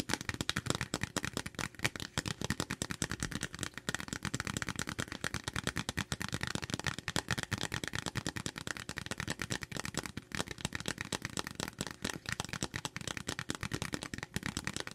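Long silver-painted nails tap and scratch rapidly across a thin printed paper/cardstock information card from a subscription box, held up in both hands. The result is a dense, continuous stream of short, dry, crisp clicks and papery scratches with no ring after each hit.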